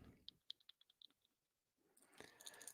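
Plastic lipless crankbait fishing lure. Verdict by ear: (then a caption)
No rattle. A discontinued Strike King plastic lipless crankbait with no rattle inside is shaken, giving eleven faint, bright, dry clicks with no ringing. A louder broadband rustle follows near the end. The lure is a silent bait.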